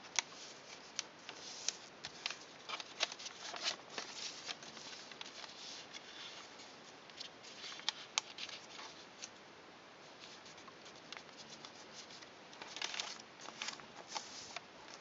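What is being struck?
Folded origami paper.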